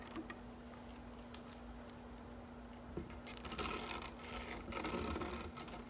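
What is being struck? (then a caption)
Plastic drying rack with thin upright blades. Long acrylic nails scratch and rake the thin upright blades of a medium-size green plastic grass drying rack. Faint, scattered bright ticks over a low steady hum give way after about three seconds to a louder, denser, brighter rustling scrape.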